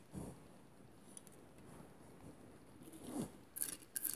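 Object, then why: Vase covered in small mirrored glass tiles. Long nails scratch a hand-held, hollow cylindrical vase covered in small mirrored glass mosaic tiles. A quiet, dull scrape opens the clip and is followed by faint, steady rubbing. A louder low scrape then comes before a few bright, crisp scratches at the end.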